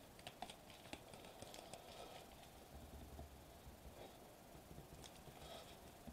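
Short-nailed fingertips tap rapidly on a sheet of foil-laminated plastic bubble wrap lying flat on a table. Quick, crisp clicks with bright crinkly edges sound over a soft, steady low rustle, with a faint tone around 700 Hz running through the taps.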